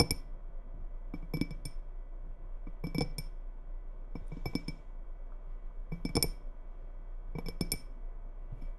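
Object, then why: Glass tumbler partly filled with water. Long red nails tap the walls of a small, faceted, clear glass tumbler partly filled with water and held in both hands. Quick bright clinks arrive in short clusters and die away almost at once. Beneath them runs a steady low hum.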